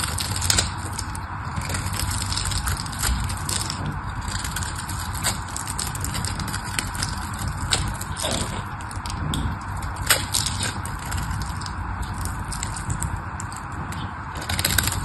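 A solid pink patterned bar of dry soap is scraped and cut with a craft knife, its flakes crumbling away. Continuous gritty scraping and crackling runs throughout, with a low rumble underneath and sharp, bright crunches at irregular moments.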